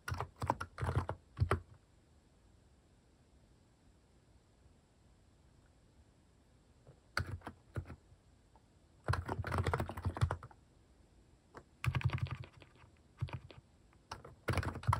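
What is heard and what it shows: A plastic mechanical keyboard with cat keycaps is typed on by fingertips, with some clicky presses. Short bursts of quick clicking keystrokes come in clusters separated by long quiet pauses. Each press snaps short and dry, with a low thock under a bright click.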